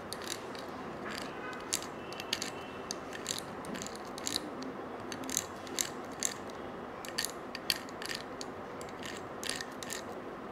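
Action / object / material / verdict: scrape / coiled metal wire bangle / metal wire / none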